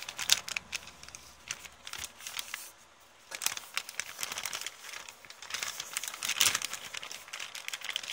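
An empty kraft paper bookstore bag with blue print lies flat and is scratched and rubbed with long painted nails and fingertips. The result is a bright, dry crinkling and scratching made of dense, quick ticks. It briefly falls quiet around the third second, then resumes with louder rustling bursts near the start and again toward the end.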